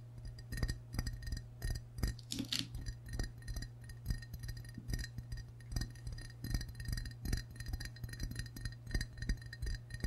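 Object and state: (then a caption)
Ceramic mug tapped with fingernails. A medium glazed ceramic mug shaped like a green and white frog, with a handle, hollow and appearing empty, is held in both hands and tapped on its body with short fingernails and fingertips. Rapid, irregular clicks and light clinks with a brief bright ring continue throughout, over a steady low hum.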